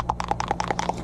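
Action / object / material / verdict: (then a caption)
shake / plastic paint bottle with mixing ball / plastic / none. A plastic bottle of frost white shimmer paint is shaken, and the small mixing ball inside rattles against the walls in rapid, evenly spaced, bright clicks over a faint low hum. Each click is short and dry with almost no ring, clearly revealing the ball loose inside the bottle.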